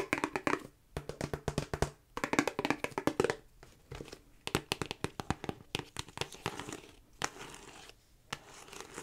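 Long nails tap and scratch the front of a hollow, hard plastic DVD-style Grand Theft Auto PlayStation 2 game case held in the hand. The result is rapid bursts of dry, clicky taps with short scratchy strokes and almost no ring, pausing briefly between flurries.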